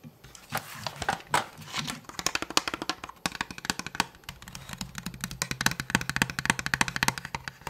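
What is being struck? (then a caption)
Plastic toy blaster. A hollow blue plastic Nerf toy blaster, held diagonally, is rubbed and scratched with fingertips and nails near the grip. The result is a dense run of quick, dry scratching clicks and taps with a bright, hollow plastic edge, mixed with softer rubbing swishes at the start.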